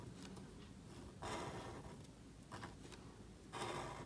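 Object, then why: Thin paper cardstock card scratched by a marker nib. A calligraphy marker nib scratches strokes across a thin, solid, flat black cardstock card held flat by fingers. Three distinct scratchy, papery strokes rise out of a quiet low background hiss, each with a bright rasping texture.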